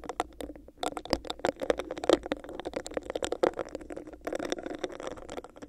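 Long nails scratch and tap rapidly on a hollow, empty, clear bumpy plastic cup held over a microphone. The result is a dense stream of short, dry clicks and rasping scrapes with a hollow midrange tone around 340 Hz, and each hit dies away almost at once.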